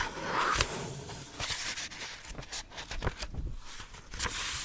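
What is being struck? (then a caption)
Paperback book paper pages. An open paperback book with cream paper pages is held close to the microphone while a palm and fingertips rub and brush across the open pages. The result is a soft, continuous papery hiss broken by a few sharper brushing strokes.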